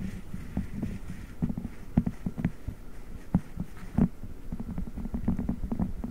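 A blue silicone spiked massage pad is held over a microphone grille while fingertips knead and rub the silicone against it. The result is a dense run of muffled, low thumping taps and squishy rubbing, mostly under 200 Hz and with almost no high end. A few sharper knocks stand out above the steady rumbling texture.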